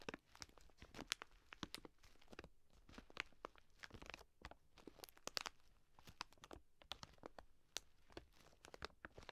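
A full 2 kg plastic bag of dry green lentils rests on one hand while long nails scratch and press its front. Quiet, bright crinkling and crunching is broken up by many sharp, clicky crackles as the lentils shift inside the plastic.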